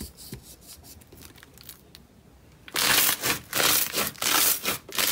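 Both hands press, knead and pull apart a large mound of purple two-tone slime packed with rice-grain foam beads on a wooden-look surface. Faint, sparse crackles for the first few seconds give way to loud, bright, crunchy crackling bursts that swell and dip as the fingertips work the beads.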